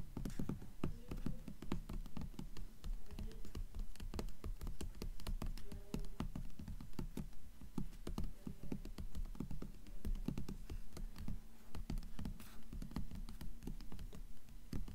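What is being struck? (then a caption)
Hardcover book with paper dust jacket. Long nails tap and scratch on a blue hardcover book with a paper dust jacket lying flat, working over its embossed coin and the jacket. The result is a steady, dense stream of quick, dull taps mixed with soft scratching, mostly low in tone with short decays.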